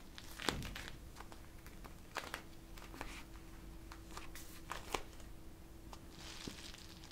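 A clear plastic pouch of teal water gel beads is held in both hands while long nails scratch and squeeze it. The result is soft crinkling and crackling with sharp, bright scratchy clicks, over a steady low hum.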